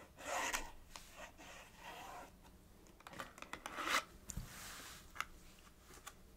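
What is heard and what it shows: Long nails rub and rasp across the surface of a small, hollow printed paperboard box, making a dry, bright scratching sound. Longer strokes are broken by short, sharp ticks and scrapes, heard close and quiet.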